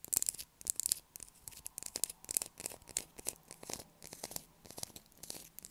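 Long acrylic nails scratch hard at a solid blue bar of soap held in the hands, making soap shavings fall. Dry, bright, rasping scrapes come in quick, uneven bursts with almost no low end and no ring after each stroke.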